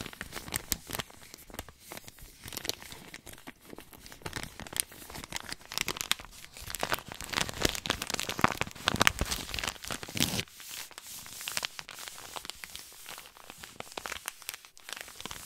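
A small white paper compress pouch is crinkled, squeezed and rubbed with fingertips, giving a steady run of dry, bright crackling and crinkling. The rustle grows denser and louder in the middle, then thins out toward the end.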